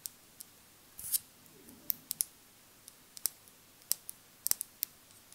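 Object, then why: Small glass dropper bottle. Long acrylic nails tap a small glass cosmetic dropper bottle with a dropper cap, partly filled with beige liquid. About fifteen quick, bright, high clicks are spaced irregularly over quiet background hiss, with a brief scratchy rustle near the first second. Each tap dies away almost instantly.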